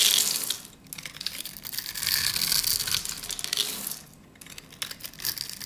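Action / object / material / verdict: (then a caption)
scrape / bar of soap cut with a metal blade / soap / none. A metal utility blade scrapes and cuts scored cubes away from a solid, cream-white rectangular bar of dry soap held in the hands. The result is a dense, bright, crunchy scraping and crumbling sound, with brief quieter pauses between passes of the blade.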